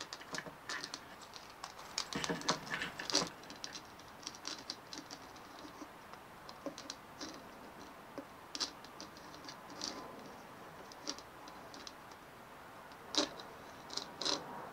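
Long nails tap and scratch a white hollow plastic dimpled ball as it is rolled between the hands over a wooden table. Quiet, bright, clicky taps and rasping scratches come in scattered bursts. Each sound dies away almost at once, with little low end.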